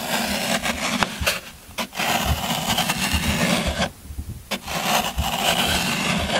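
A yellow-handled metal loop scraper rakes along the top edge of a solid green floral foam brick held in one hand, shaving it away. Dense, crunchy scraping and rasping fills the clip, bright and gritty, with short pauses where the tool lifts off before the strokes resume.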